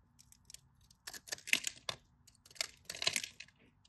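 A metal craft knife blade cuts and scrapes grid cubes off the surface of a solid, cream-colored bar of dry soap held in the fingers. Crisp, bright crackling and scraping bursts come in irregular clusters with a very short ring and little low end. Between the bursts there is quiet.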